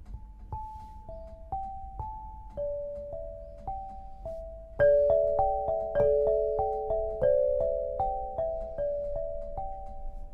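An 8-bar lithophone of solid black granite slabs on a low frame, tuned to 432 Hz, is struck with two soft-headed mallets (red and green balls on wooden sticks) to play a melody. Clear, mellow bell-like tones ring for about a second each, first as single notes. Midway the playing grows louder, with overlapping notes sounding together.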